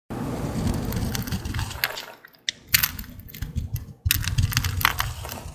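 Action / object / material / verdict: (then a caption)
scrape / bar of soap cut with a blade / soap / none. A green-handled utility blade carves into a dry, solid green Old Spice bar soap, producing dense, crisp crackling and scraping with a low, rumbling undertone and bright, sharp snaps. The cutting pauses briefly around the two-second and four-second marks, then resumes with flaking, crunchy crackles.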